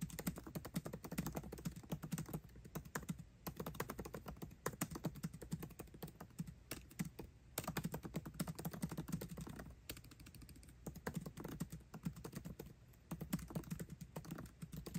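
Fingertips type fast on a MacBook Pro keyboard with plastic keycaps set in an aluminum body. The result is a rapid, continuous stream of short, dry key clicks with soft, low-pitched thuds, broken by a few brief pauses.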